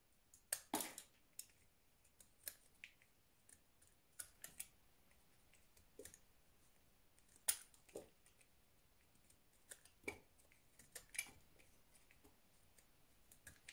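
A small, solid white round soap with a flower relief is held in the hand and carved with a utility knife blade, cutting and scraping into it. Quiet, sharp, crisp clicks and short scrapes come in irregular bursts, mostly bright with little low end. Each one dies away almost instantly.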